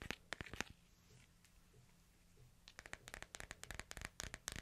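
A hand-sized smartphone in a light, hard plastic case is held in both hands while fingernails scratch and tap along the case edges. Sharp, bright plastic clicks come in quick, uneven bursts, with a quieter stretch of soft scratching and a faint low hum in the middle before the tapping picks up again.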